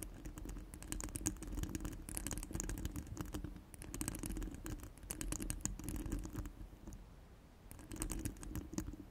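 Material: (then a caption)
Steel mesh. Long stiletto nails scratch and tap all over a hollow steel wire-mesh microphone head resting on a cork mat. The result is a dense, crackly rasp of quick taps and scrapes with bright high hiss over a low, muffled body and a steady tone near 300 Hz. The sound eases into brief quieter stretches around 3.7 and 7 seconds before picking back up.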